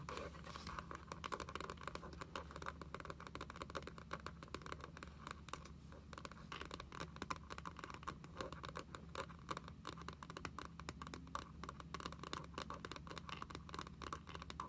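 Long nails tap and scratch the front of a closed spiral-bound booklet with a glossy laminated cardboard cover, held upright in both hands. The result is a quiet, dense stream of short, crisp clicks and scratchy scrapes, with no ring after each hit, over a steady low hum.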